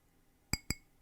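A drinking glass is tapped twice, higher up on the glass, to match the pitch of a sampler sound. The two short, bright clinks ring with a clear tone, and the clink is in the same key as the sample.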